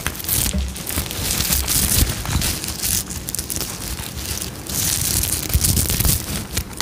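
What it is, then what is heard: Sequin fabric pouch. Long nails rub and scratch across a sequin-covered fabric pouch held beside the microphone. The result is a steady, dense crinkling rasp, bright and hissy on top with a low rumbling body underneath, swelling and easing as the strokes change without ever stopping.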